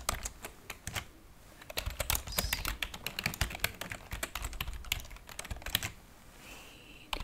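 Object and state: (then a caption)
Plastic computer keyboard. Long painted fingernails type and tap on the plastic keys of a white plastic computer keyboard resting on a wooden table. The result is a steady run of quick, crisp clicks and clacks with bright fingernail ticks. They pause briefly near the end before a few final taps.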